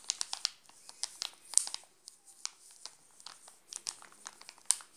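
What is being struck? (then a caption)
Plastic snack wrapper. Fingers grip and crinkle the glossy plastic wrapper of a sealed Alpino chocolate bar, partly covered by the hand. A quiet run of rapid, sharp crackles and crinkles follows, bright and high with almost no low end, and each snap dies away instantly.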